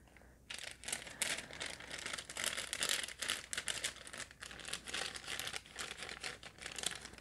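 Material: Plastic.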